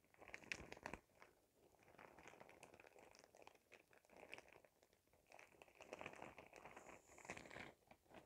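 A clear glittery plastic shower cap, bunched up small, is crinkled with fingertips near the face. Dense, bright crinkling and crackling rustles go on throughout, with sharper bursts near the start and again around six to seven and a half seconds.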